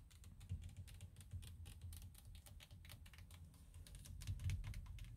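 Long blue nail tips tap rapidly on the hollow, hard plastic airbag cover at the center hub of a car steering wheel. Dense, bright, short clicks sound over a steady low hum, like fast typing on a keyboard.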